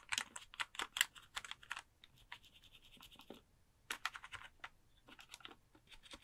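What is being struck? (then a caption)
Plastic computer keyboard. Fingertips type on the keys and scratch across the keycaps of a pink plastic computer keyboard held close in front of a microphone. About 19 crisp, bright clicks and taps come in quick clusters, with a softer, steady scratching stretch in between. Each click dies away almost instantly.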